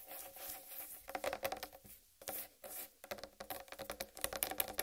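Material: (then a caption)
Watermelon rind. Long red-painted nails scratch and tap across the green striped rind of a large, whole, uncut watermelon. Soft, airy scraping strokes alternate with bursts of quick, dry, bright tapping that die away almost instantly.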